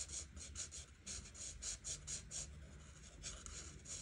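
A felt-tip marker rubs back and forth over a thin printed paper colouring page lying flat on a table while green areas are coloured in. The quiet, bright, scratchy strokes come in quick rhythmic bursts, with a pause in the middle, over a faint low rumble.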